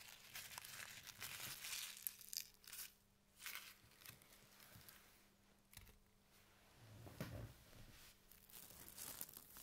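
A large, thin, white printed plastic bag lies empty and flat on a table while fingertips and nails scratch and rub across it. Bright, papery crinkling and scratchy rustles come in irregular bursts with brief quieter gaps, over a faint steady low hum.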